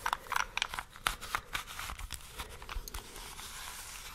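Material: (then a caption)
Plastic. A small solid plastic 3x3 Rubik's cube with colored stickers, held in both hands, is tapped and scratched with long nails and fingertips while its layers are twisted. Sharp, bright clicks and taps come in quick bursts over the first half. They give way to a softer, continuous scratching and rustling that fades toward the end.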